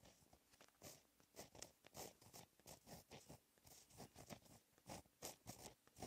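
A blue gel pen held in the fingertips writes Korean text on a flat sheet of black lined textured paper. It makes a quiet series of short, scratchy pen-on-paper strokes with bright, hissy highs, separated by brief pauses between strokes.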